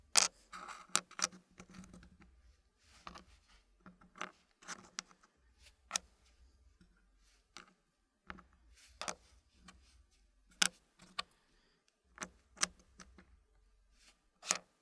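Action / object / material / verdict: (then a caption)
tap / small wooden puzzle pieces and wooden tray / wood / none. Fingers fit small, solid wooden puzzle pieces into a green-painted wooden tray, making quiet, dry taps and a soft patter of wood on wood. The clicks are short and bright with almost no ring, spaced irregularly with brief pauses between clusters.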